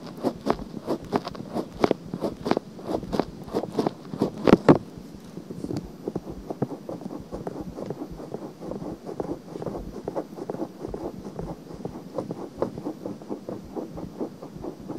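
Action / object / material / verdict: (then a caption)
scrape / silicone binaural microphone ear / silicone / none. Fingernails scratch down the surface of a pale pink silicone binaural microphone ear. The result is a rapid, continuous series of close, dry scratching strokes that decay almost instantly, with their energy centered in the low mids. The first few seconds bring louder, sharper strokes, and the rest settles into softer, steady rubbing.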